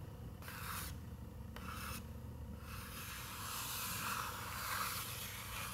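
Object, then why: Paper page of a picture book. Long nails scratch across the illustrated tree on a paper page of an open picture book. Two short bursts of bright, raspy scratching are followed by steadier, continuous scraping over a soft low rumble.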